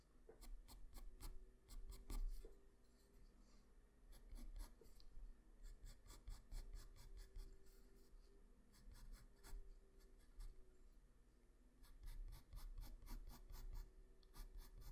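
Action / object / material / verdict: scrape / graphite pencil on a sheet of drawing paper / paper / none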